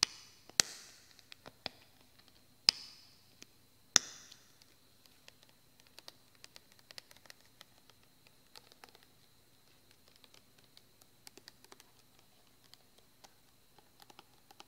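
A medium, hollow white plastic lotion bottle with a cap is held in both hands above a suitcase and tapped with the fingertips and nails. A few sharp, bright taps stand out in the first four seconds, followed by a long stretch of faint, irregular clicks and ticks. The sound is quiet and high-pitched with almost no low end.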